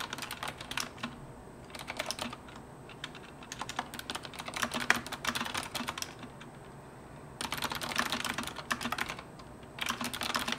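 Fingertips of both hands type on a retro mechanical keyboard with round plastic keycaps and orange backlighting. Bursts of rapid, bright, clicky keystrokes alternate with short pauses, each click dying away almost instantly.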